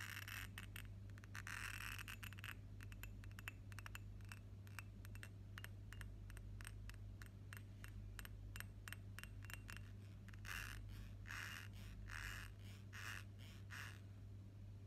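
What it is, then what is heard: Glass perfume bottle tapped and scratched. Fingernails tap and scratch the flat glass sides of a hand-held, pink-tinted rectangular glass perfume bottle with a black cap, partly filled with pink liquid. Rapid, bright, short clicks run throughout, with brief scratchy bursts in the last few seconds. A steady low hum sits underneath.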